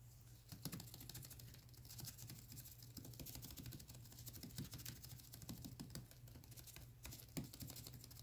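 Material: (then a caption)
Plastic. Black nitrile-gloved fingertips tap and scratch the front and label of a clear, hollow plastic Vitamin E gel bottle, about 12 oz and apparently full of yellow gel, standing on a paper towel. The result is a quiet, dense stream of quick, dry, bright clicks and scratchy rustles over a steady low hum, with a few slightly louder taps standing out.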